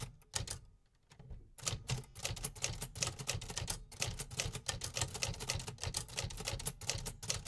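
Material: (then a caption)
Metal. Fingertips type continuously on the metal keys of a vintage 1950s manual typewriter, producing rapid, bright mechanical clacks with a low thudding body under each strike. After a brief lull near the start, the typing picks up into a steady, dense run of key strikes that continues to the end.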